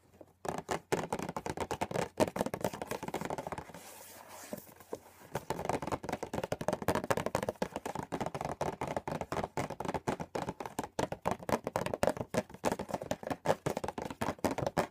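Painted nails tap rapidly on the closed lid of a small, hollow, green printed Rowntrees cardboard sweets box. The taps are dry and papery, centered in the mids with almost no ring, and they briefly give way to a softer scratching hiss around the fourth second before resuming at a fast, steady pace.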